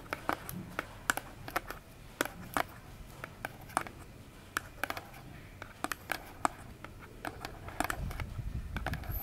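Long nails tap and scratch the face of a small, rigid, hollow orange cardboard box held close in both hands. Quick, dry clicks with almost no ring are scattered unevenly over a soft, scratchy hiss, with a few sharper, brighter taps standing out. A low rumble builds in the final second.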